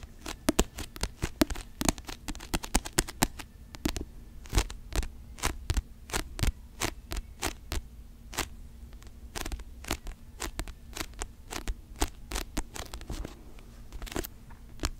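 Long nails scratch and tap the glossy cover of a paperback novel held flat in both hands close to the microphone. Quick, crisp, bright clicks and light scrapes come in uneven bursts over a low steady hum. The taps are short and dry, dying away almost instantly.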